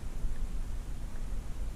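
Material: Nothing is struck.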